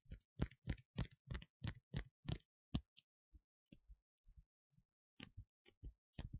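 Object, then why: Leather costume piece. Leather parts of a Rey cosplay costume are tapped and scratched, chosen because leather sounds nice. A quick run of dull, low, dry taps with almost no ring is followed by a few softer, scattered taps and a final short cluster.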